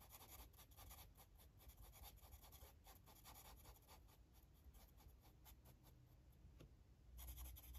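A felt-tip Sharpie marker, held at the fingertips, rubs and scratches over the page of an open paper coloring book lying flat on a table while coloring small shapes. Quick, bright scratchy strokes repeat steadily over a soft low rumble, growing a little louder near the end.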